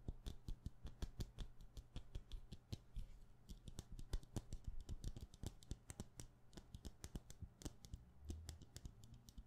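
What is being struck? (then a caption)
Wax pillar candle. Long painted nails tap fast on the side of a solid, palm-sized white wax pillar candle. The result is a quiet, rapid, uneven stream of short, dry clicks that stop almost instantly, with faint bright ticks on top and a steady low hum underneath.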